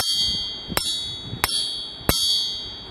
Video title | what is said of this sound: ENGINE BUILD FOR BIG POWER AND EFFICIENCY. | Here's the sound that a stock crankshaft will emit when you tap it.